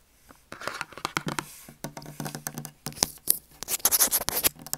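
A small closed Dove soap carton of thin cardboard, hollow with a bar of soap inside, is held in both hands and tapped and scratched with short fingernails and fingertips. A quick, uneven run of crisp taps and dry, hissy scratches follows, bright and high-pitched, with each sound ending sharply without ringing.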